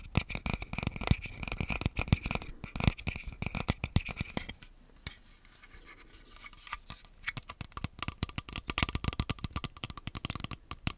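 Fingers and nails scratch and tap the rails and shell of an empty, hollow black plastic Joy-Con grip. Dense, dry clicks and scratchy strokes carry a low body and bright edges, with a quieter stretch of soft rubbing in the middle before the rapid tapping returns.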